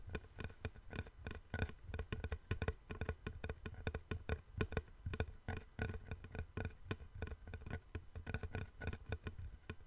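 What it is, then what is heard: Wooden plank. Fingertips and nails tap quickly and irregularly on the surface of a long, flat, light, solid wooden board held in both hands over the microphone. Each tap is a short, dull knock with a deep body around 90 Hz and little high content. The taps die away almost instantly, giving a soft, steady patter over the whole clip.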